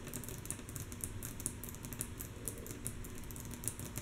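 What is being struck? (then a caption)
Wooden tabletop. Long natural nails on both hands tap rhythmically and softly on a flat, solid, light wooden tabletop. It makes a quick, steady run of quiet clicks with bright nail ticks over a dull low knock from the wood. Each tap dies away almost at once.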